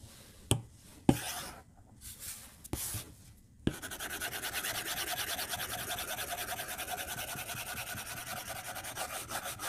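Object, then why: Plastic stylus on a glass tablet screen. A plastic stylus tip taps and drags in short strokes across the flat glass screen of an iPad tablet. A few sharp separate taps and light scratches come first, then a steady run of quick, bright, scratching rubs on the glass fills the rest of the clip.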